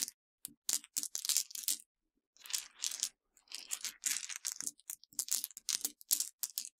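A pile of broken white Mentos hard-candy pieces on a dark surface is dug into and crushed by long, dark-painted nails and fingertips. Bursts of bright, dry crunching and sharp snapping come with brief pauses, including one longer pause near the two-second mark. The crackles are thin and high, with almost no low end.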